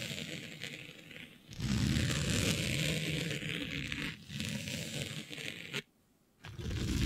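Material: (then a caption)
Synthetic fabric. Long nails and fingertips scratch and rub across a smooth synthetic fabric with a planet print, laid flat. The result is a dense, rustling scrape with a low rumble and bright hiss. It grows louder after a quiet start, dips briefly, drops to near silence for about half a second, then resumes.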